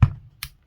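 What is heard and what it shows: A steel aftermarket RST slide for a USP-version airsoft pistol, confirmed as steel by a magnet, is tapped three times to compare it with a plastic slide. Each tap is a short, dull knock with a low body near 110 Hz and almost no ring; the middle tap is lighter and brighter. The steel slide sounds louder than the plastic one.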